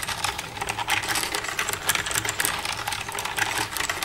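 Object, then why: Plastic computer keyboard. Long red-painted nails tap and type with both hands across the keys of a black plastic desktop computer keyboard with a hollow casing. The result is a steady stream of quick, bright, hollow plastic clicks with almost no low end, each dying out almost at once.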